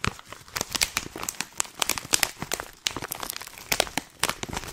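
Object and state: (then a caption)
Plastic pouch being crinkled. A hand-sized, filled, white printed stand-up plastic Tiora tea pouch is crinkled and scratched with long painted nails. The result is a dense run of bright, crisp crinkles and sharp crackling snaps that stop dead with no ring, over very little low end.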